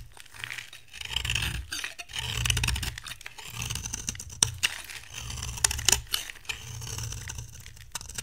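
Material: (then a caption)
Soap. A metal cutter blade shaves curls off the surface of a dry brown bar soap with a green shell, held in hand. Crisp, bright scraping strokes swell and fade in repeated passes over a low rumble, with a few sharp clicks scattered throughout.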